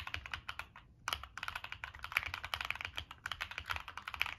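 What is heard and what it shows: Continuous fingertip typing on a Monsgeek M1 mechanical keyboard with a black aluminum case, plastic keycaps and NK Cream switches. Quick, dry, bright key clacks centred around 2.3 kHz run in a steady stream, with a brief pause just before the one-second mark. Each keystroke dies away almost instantly.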